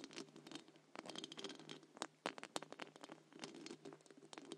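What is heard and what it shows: Long acrylic nails from both hands scratch and tap the round, hollow wire-mesh metal grille of a large silver condenser microphone. The result is a dense, bright, crackly patter of scratches with sharper taps scattered through it. Each sound dies away almost instantly, and there is very little low end.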